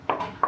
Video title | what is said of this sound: Rumah Gaya American dengan Pemandangan Menawan | solid, it doesn't sound teng-teng-teng like that